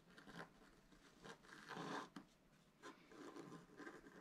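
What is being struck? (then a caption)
Wax-coated scratch-art card scraped with a wooden stylus. A wooden stylus scratches a broad band into the coating of a black-coated scratch-art card lying flat on a table, using repeated strokes. Soft, dry rasping scrapes rise and fade in uneven bursts, the longest near the middle, over a quiet background.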